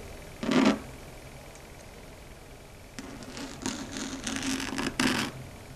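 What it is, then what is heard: Chalkboard scratched and tapped with long nails. Long red stiletto nails scratch and tap a large, flat, dark gray chalkboard. A short, bright scrape is followed by a pause, then a run of scratches and taps with a tone near 285 Hz and high, hissy edges, ending in a louder final scrape.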